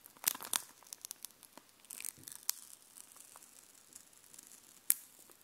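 Long painted nails tap and scratch across a small flat sheet of glossy raised epoxy plastic stickers on a paper backing, held in one hand. The sound is a quiet series of crisp, bright clicks and short scratchy crinkles, almost entirely high-pitched with no low end. A few sharper taps stand out, and each dies away instantly.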